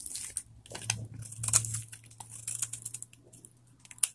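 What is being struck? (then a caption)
Bar soap cut with a knife. A metal knife blade shaves and carves flakes off a palm-sized solid bar of old, dried vintage soap held in one hand. The result is an irregular run of crisp, bright scraping and crunchy cutting strokes over a faint steady low hum, ending with a sharp snap near the close.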